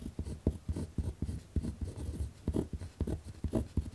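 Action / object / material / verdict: scrape / ballpoint pen on a notebook sheet over a wooden desk / paper / none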